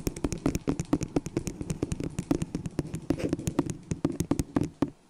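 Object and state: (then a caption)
Plastic cup tapped with fingernails. Long acrylic nails rapidly tap and scratch a small, hollow, empty white disposable plastic cup placed upside down over a furry microphone. The result is a fast, uneven stream of short, dry, hollow knocks with a low-mid ring, broken by faint scratching between taps. The sound ends in near silence.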